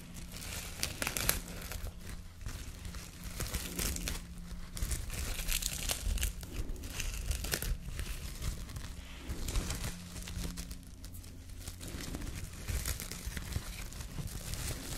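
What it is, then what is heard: Plastic cling film being crinkled. A folded piece of clear plastic cling film is held in both hands while fingertips and nails crinkle and rub it. Dense, bright crackling and rustling runs throughout, with sharper crinkles scattered over a steady low hum.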